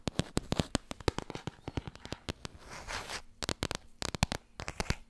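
Long red nails tap fast on the spine and cover of a small, solid, laminated cardboard board book, making a rapid run of sharp, dry clicks with a low thud beneath them. Around the middle the tapping briefly gives way to a soft scratchy rustle, then the quick taps resume.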